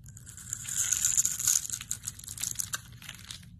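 A solid rectangular pink bar of soap with a blue scored top layer is held in the hand and scraped and cut into flakes with a metal utility-knife blade. A dense run of crisp, crunchy scraping and crumbling is heard, almost entirely bright and high, swelling in the middle and thinning toward the end.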